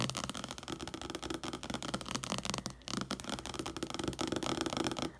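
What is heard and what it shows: A softcover paperback book lying flat on a wooden table, spine facing out, has its glossy cover fast-tapped with the tips of long acrylic nails. The result is a dense, continuous patter of light, crisp clicks with a bright top end, pausing briefly near the middle before the rapid tapping resumes.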